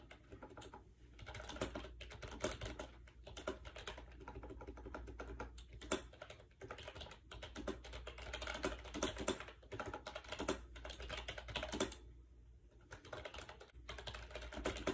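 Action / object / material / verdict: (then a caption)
tap / plastic wireless keyboard with round keys / plastic / none. Fingertips type quickly on a compact gray plastic AJAZZ 308i wireless Bluetooth keyboard with round white keycaps, resting on a bed. The hollow plastic keys give dense, light clicking bursts with short pauses, over a steady low hum throughout.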